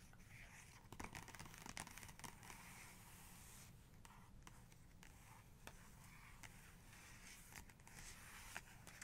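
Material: Paper.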